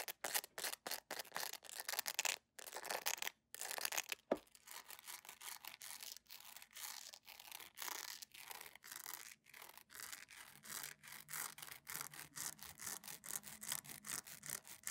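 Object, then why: PVC jelly sandal. Long nails scratch fast across the sole of a beige PVC jelly sandal, then over its straps and bow with a small metal clasp. The result is dense, bright, hissy scratching in rapid short strokes, with a brief pause near the start and a softer, steadier rasp afterward.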